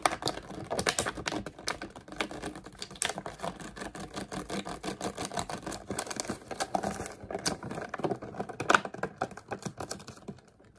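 An empty, crumpled clear plastic water bottle with its label and cap is gripped and squeezed in the hands, giving a steady stream of dense crinkles and sharp crackling snaps. The bright, dry clicks come in quick irregular bursts with almost no ring and fade slightly toward the end.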